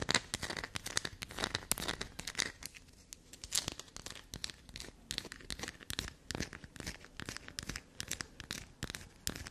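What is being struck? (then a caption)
Bar of black soap. Long black nails rapidly scratch, scrape and dig into a solid black soap block held upright. The sound is a dense stream of short, dry, bright crackles and scrapes with brief pauses between bursts. It is soft overall, with no ringing after each stroke.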